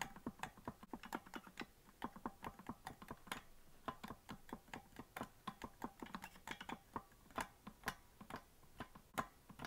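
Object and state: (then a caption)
Plastic melodica keys clicking. Fingertips rapidly tap and press the plastic keys of a hollow green plastic melodica that is not being blown. The result is a quick, uneven stream of sharp, dry clicks with a light tone around 1 kHz and a very short ring, some taps louder than others.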